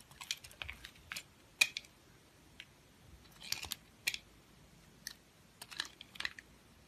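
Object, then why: Soap bar cut with a knife blade. A knife blade shaves and cuts slices from a solid, hand-held, round multicolored confetti bar of soap. Short, crisp, bright scraping and cracking bursts come in irregular bunches with quiet gaps between them. Each cut dies away almost instantly, with very little low end.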